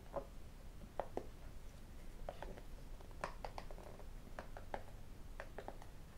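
A small, hollow white cardboard iPhone box is turned in the hands and tapped with fingertips and metal rings. The result is quiet, scattered taps and clicks: short, dry knocks with a hollow mid-range tone and a few brighter clinks, over a soft low rumble.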